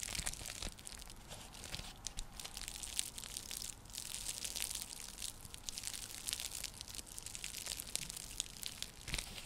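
Long nails scratch across the weave of a round, flat, coiled woven straw-and-seagrass coaster, or trivet. The result is a quiet, continuous, bright crackling and crinkling rasp made of dense, dry, rapid clicks that fade almost instantly.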